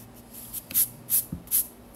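A yellow graphite pencil scratches sketch strokes of a figure outline on the white paper page of a spiral-bound sketchbook. Three short, bright, hissing scrapes stand out over a quiet background, with a soft low bump between the second and third.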